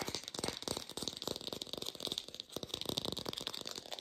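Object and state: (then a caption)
Artificial plastic pear. An artificial plastic pear is tapped quickly in a lo-fi style, giving a dense, continuous run of dry, bright clicks and rattles. Each tap stops almost instantly, with very little low end beneath the sharp high ticks.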